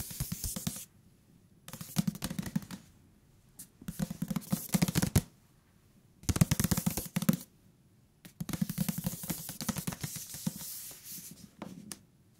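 Fingertips tap a thick paper book on its cover and along its edges in quick bursts of soft, dull taps with short pauses between them. The taps are low and muted with a brief papery brightness, and the top and bottom edges sound different even though the thickness and material are the same.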